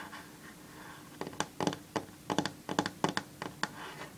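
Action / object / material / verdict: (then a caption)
scrape / varnished wooden tabletop / wood / none. Long fingernails scratch and tap a solid varnished wooden tabletop, starting with faint scraping strokes. These give way to a run of about 13 sharp, dry clicks and scrapes with a bright edge and almost no ring.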